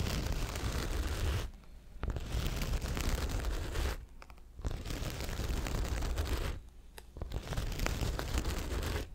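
A small blue Coach handbag in signature jacquard fabric, with a leather handle and a hollow, structured body, is held close against the mic and scratched and tapped with long acrylic nails. The result is a continuous dense, rustling scratch with a deep, low-heavy body. It drops to near-silence in three brief pauses.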